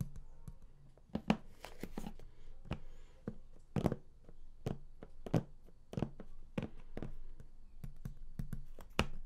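Fingertips tap and scratch the raised lid panel of a large, flat cardboard game collector's box that is closed and hollow. A quick, irregular series of dull, low, hollow taps dies away almost at once, with soft scratchy rustling between them.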